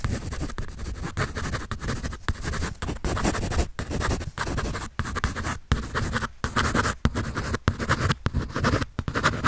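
A pencil tip scratches rapidly across white drawing paper on a sketch pad held by hand. The rough, steady scratching comes in continuous bursts broken by brief pauses as the pencil lifts and strokes again.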